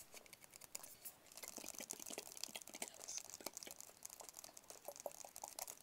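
A small, hollow, white rigid paperboard phone box is tapped with fingertips and nails in a quick, steady run. The taps are quiet, dry and bright, with crisp clicks and no low-end body or ring.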